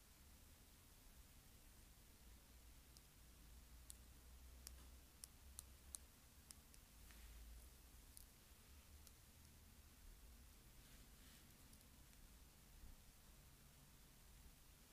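Long red-painted fingernails tap and click along the wavy-patterned back of a hand-sized white plastic paddle hairbrush with a purple handle, plastic bristles and a hollow plastic body. The result is a scattered series of quiet, very short, bright clicks over a soft low-frequency background hum.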